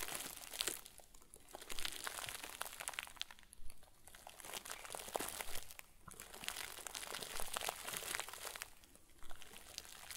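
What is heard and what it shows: A round white plastic bag, tied at the top and stuffed full into a crinkle ball, is squeezed and crumpled with the fingers and thumbs of both hands over a wooden table. Dense, bright crinkling and crackling comes in surging waves roughly every couple of seconds, with brief quieter dips between squeezes.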